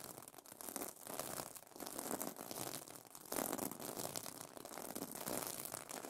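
Fingernails scratch across the plastic sequin fabric of a pillow cover, producing continuous crinkly, rustling flipping sounds. The texture is dense and bright, swelling and easing in waves with no clear separate hits.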